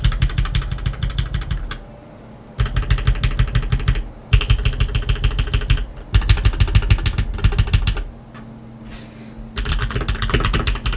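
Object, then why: Mechanical keyboard with plastic keycaps on a metal plate. Fingertips press keys and then type with both hands on a black tenkeyless RGB mechanical keyboard with lubed linear switches and plastic keycaps on a metal plate. Bursts of quick, deep, thocky clicks with a bright clatter come in rapid flurries, broken by short pauses.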